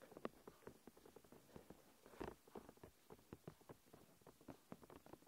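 Long nails quickly tap and scratch a thin, clear plastic protective film stretched over a recorder. The result is a quiet, rapid patter of dry, crackly clicks with no ring, centered in the low mids, with a few sharper, louder taps standing out.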